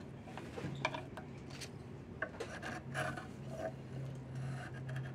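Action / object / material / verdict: scrape / diamond willow walking stick / wood / none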